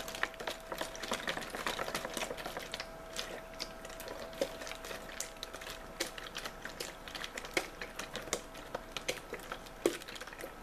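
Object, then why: Thin-walled plastic water bottle. A clear, hollow, thin-walled plastic water bottle with a label is squeezed, crinkled and scratched by fingertips and nails as hands move along it. The result is a dense, quiet stream of sharp crackles, ticks and scratchy rustles, with occasional louder snaps and bright, clicky detail. A faint steady mid-pitched tone runs underneath throughout.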